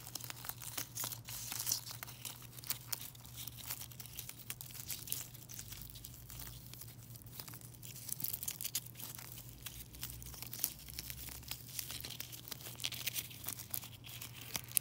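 A mesh net bag of foil-wrapped chocolate coins is squeezed and crinkled with the fingertips for about fifteen seconds. The result is a continuous, quiet stream of bright, crackly foil crinkles with short sharp snaps, over a steady low hum.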